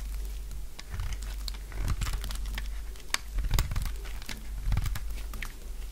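A purple bar of dry solid soap, already partly carved, is shaved with a utility knife blade. The clip is a dense run of short, dry scraping and crunching strokes, with crisp bright clicks over a low rumble. The strokes blur together into continuous crinkly shaving.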